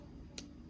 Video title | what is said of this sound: Manicurist Practical Exam - By The Nail Academy | if you hear that sound that means it's dry